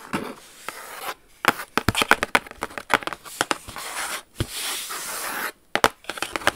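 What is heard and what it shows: A large beige Jimmy Choo shoe box, hollow and closed, with a suede-like textured cardboard lid and gold lettering, is held up and scratched and tapped with long acrylic nails. Quick, dry taps with a bright click stand out between soft, rasping scratching strokes that swell into longer brushing passages across the textured lid.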